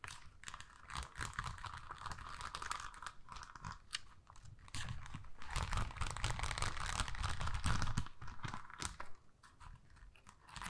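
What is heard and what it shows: Long nails scratch and tap across a long, thin, flexible strip of pink and gold plastic rhinestone stickers on a backing sheet, held up in one hand. The result is a rapid, uneven stream of crunchy, crinkly clicks and scrapes over a low, rumbly body. The sound swells louder in the middle of the clip and eases off toward the end.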